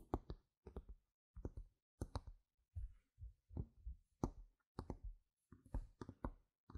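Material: Plastic.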